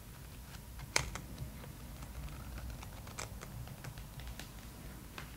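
Long nails and fingertips tap the cover of a thick, glossy paper magazine held upright, making a quiet run of crisp, bright clicks over a steady low background hum. One sharper, louder click stands out near the start, and each tap dies away almost at once.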